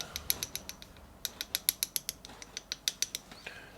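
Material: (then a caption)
Acrylic. A brush handle taps an acrylic nail enhancement about twenty times in quick succession, giving sharp, dry, high-pitched clicks with almost no ring. The crisp clicking shows the acrylic has fully hardened and set.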